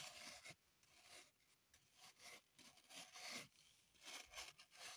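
A small, solid green floral foam block held in the hands is scratched and rasped with long, pointed acrylic nails, with crumbs lying on the table. It makes bursts of dry, bright, crunchy rasping and scraping, almost entirely in the high range with no low end. Short quieter gaps fall between the strokes.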